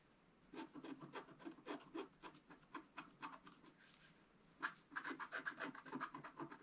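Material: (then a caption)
Coated paper. A wooden stick scratches the coating off a flat black-coated scratch-art paper sheet held flat by hand, in about 25 short, uneven strokes. Each stroke is a dry, rasping scrape, with a brief pause near the middle before a brighter, slightly louder run of strokes.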